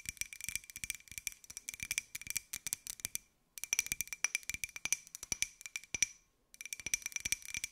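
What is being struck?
Ceramic mug.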